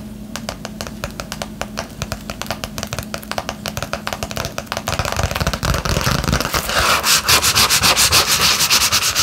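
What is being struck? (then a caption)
Padded bubble mailer envelope, paper and plastic. Long manicured nails scratch and tap the surface of a flat yellow padded bubble mailer, made of paper and plastic and held upright in both hands. Crisp, bright rustling taps start at a steady moderate pace, then speed up into a dense, louder scratching. Faint low hum sits underneath the early strokes.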